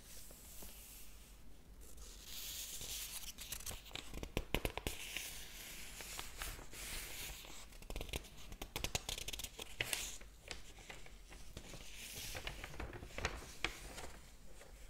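Fingertips flip and brush the paper pages of a large open hardcover book with an atlas-style map page showing. Dry rustles, swishes and sharp papery flicks and crinkles repeat throughout, with bright hiss over a low steady hum.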